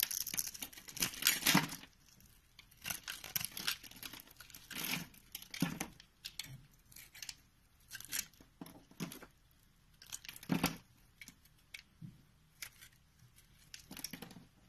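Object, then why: Bar of soap. A green-handled knife carves a solid, hand-sized purple soap bar held in the palm, scoring it into cubes and then slicing off thin layers. Bright, crisp scraping and crackling bursts come in short clusters, separated by brief quiet gaps.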